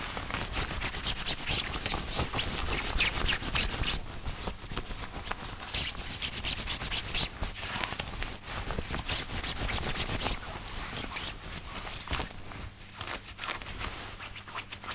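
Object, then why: Woven cotton shirt. Fingertips scratch and rub the chest and near the collar of a worn, thin white woven cotton button-up dress shirt. Bright, crinkly scratching and rustling bursts come in an irregular, rapid rhythm over a low fabric rumble, continuing steadily for the full 15 seconds and easing slightly toward the end.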